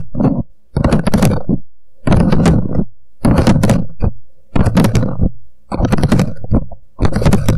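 Fingertips quickly tap and scratch around the sides of an empty, hollow, upside-down paper "Coffee Shop" cup resting on a microphone. The result is rapid, low, hollow thumps mixed with scratchy rustling, coming in short dense bursts separated by brief quiet pauses.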